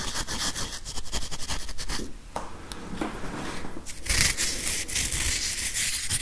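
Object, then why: Plastic whiteboard eraser with felt pad. Fingernails scratch and tap against a grey whiteboard eraser, a plastic body with a felt pad, held close beside the microphone. Quick, rhythmic scratching strokes come first, then a quieter, softer rubbing passage, and finally a louder, bright, brushy scratching that fills out the high end.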